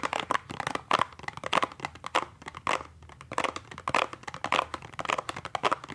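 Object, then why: Small cardboard box. A small, hollow cardboard toothpaste box is held at an angle and tapped and scratched on its printed face with fingertips and nails. It makes an irregular stream of dry, papery taps and crinkly scratching, centred in the midrange with bright edges and almost no low end. Each tap dies away almost instantly.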